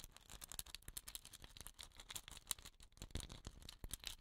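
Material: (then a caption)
Wood. A hollow, dot-painted wooden rain stick with a woven rattan end cap is held and tilted while fingernails tap and scratch its painted surface. Quiet, rapid, dry ticks and scratches patter on and off, with a bright rattling edge and soft low thumps underneath. Each click stops almost instantly with no ring.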